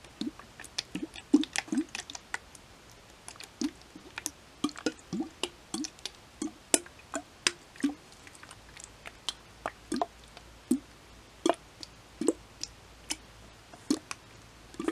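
A clear plastic Le Bleu water bottle, partly full of water and held in both hands, is tapped with long nails while being tilted and shaken so the water sloshes inside. About forty quick, dry taps and clicks sound over soft sloshing, each with a brief hollow body near 300 Hz and a bright crisp edge that dies away almost instantly.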